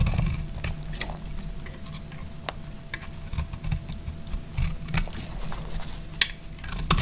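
A utility knife blade shaves a solid green dry soap bar held in the hand, making short, dry scraping cuts. Brief bright scratches rise over a steady low rumble, with a few sharper peaks among the softer strokes.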